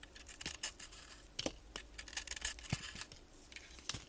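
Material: Pressed powder.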